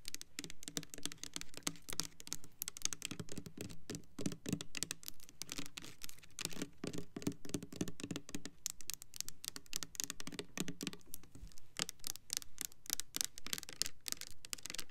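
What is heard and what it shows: Long acrylic nails tap and scratch the sides of a hand-sized Bath & Body Works Cranberry Peach foaming hand soap bottle, hollow clear textured plastic filled with pale liquid. Quick, dry clicking taps come in an uneven, steady patter mixed with scratchy rasps, each tap short with almost no ring. The bright clicks sit over a soft low hollow thump from the bottle.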